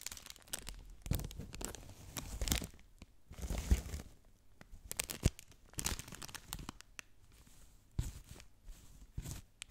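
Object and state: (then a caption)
Plastic bag crinkled and scratched. A clear plastic bag filled with soft, light orange feathers is held in one hand and crinkled and scratched with long nails close to the mic. Irregular bursts of crisp crinkling and scratchy rustling come and go, with a deep low-end thump under bright hiss and short quiet gaps between.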